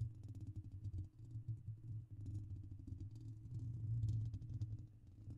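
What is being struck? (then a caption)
Metal mesh microphone grille. Cupped hands rub and lightly tap their fingertips around the hollow metal mesh grille of a silver microphone. The result is a continuous stream of soft, muffled thumps and scratchy rustling, heavy in low boomy rumble with faint bright crackles above.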